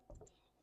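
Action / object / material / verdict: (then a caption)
tap / bread loaf crust / bread / hollow. A cooled walnut cranberry cinnamon bread loaf, golden brown with its parchment removed, is tapped. The tap gives a soft, low, hollow thump. The hollow sound shows the loaf is baked through after 55 minutes in a Dutch oven.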